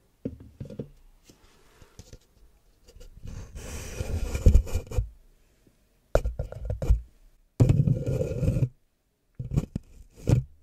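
An empty red plastic party cup, hollow, thin-walled and about 16 oz, is held upside down over the microphone while fingertips and short nails tap and rub its base and sides. Short hollow taps come in clusters between longer bursts of low, muffled rubbing and scratching, with brief quiet gaps between them.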